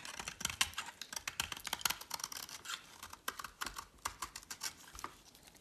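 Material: Soap.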